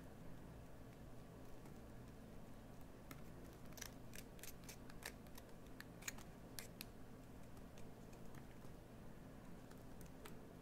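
A metal blade tool carves a solid green bar of soap, scraping off shavings that pile up. Quiet, bright, crisp scraping clicks come in short bursts over a steady low hum.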